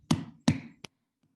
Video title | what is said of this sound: Pumpkin Carving - WWSS 9 | that's a great hollow sound that we are hearing from this pumpkin